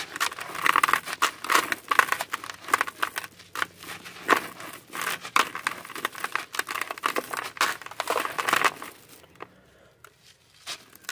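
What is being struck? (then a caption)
Sand-cement block. Dry, gritty sand-cement lumps are broken and rubbed apart by bare hands over a white plastic basin full of loose sand. Dense, rapid crumbling and crunching bursts with a bright, scratchy texture continue for about nine seconds. The sound then thins to a few scattered faint crumbles near the end.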